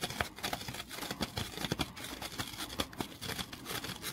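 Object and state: Foam kitchen sponge.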